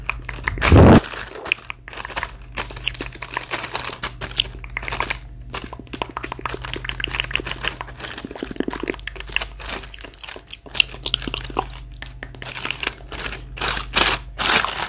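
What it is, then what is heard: Apples in a plastic bag. A gloved hand with long nails taps and presses a clear plastic bag full of Elstar apples lying on the floor, crinkling the plastic over the solid apples. Rapid, dense crinkles and sharp taps run throughout, with a loud burst near the start and a low steady hum underneath.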